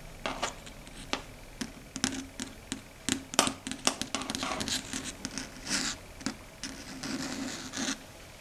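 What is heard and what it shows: Long red stiletto nails tap and scratch across a large, flat, dark gray chalkboard. Sharp, bright clicks are interspersed with longer, hissy scrapes that carry mostly high frequencies and very little low end. Each sound dies away almost instantly, leaving faint background noise between strokes.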